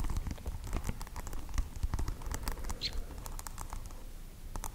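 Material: Plastic.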